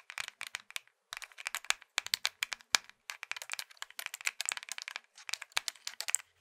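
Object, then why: Plastic mobile phone. Fingertips click the keys of a small hollow plastic Nokia mobile phone, then both hands grip and squeeze or twist the casing. The result is rapid bursts of dry, bright plastic clicks and crinkly creaks with almost no low end, separated by short pauses.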